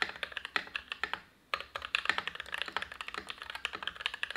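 Steady two-handed fingertip typing on an Everglide SK87 dual-mode tenkeyless mechanical keyboard with lubed Gateron INK Black v2 switches, PBT keycaps, a steel plate and an ABS plastic case. It produces a rapid stream of short, crisp clacks with a bright upper-mid tone around 1.8 kHz. The keystrokes pause briefly near 1.3 seconds, then resume just as fast.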